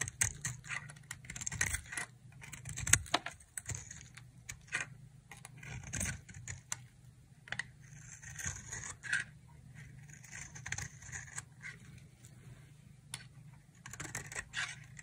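A utility knife blade scrapes a solid, bright green, palm-sized dry soap bar into thin shavings. Crisp, dry scraping and crackling bursts come in irregular strokes with bright, hissy texture, over a faint low steady hum.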